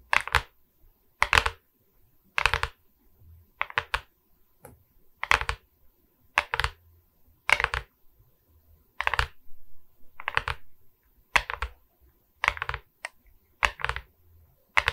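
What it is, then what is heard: Resin bead diamond painting board. Long red nails tap the resin bead surface and the wooden frame edge of a diamond painting on a wooden canvas board, seen from the top edge. Short, bright clicking taps come in quick clusters with brief pauses between them, each dying away almost instantly. A faint low hum sits underneath.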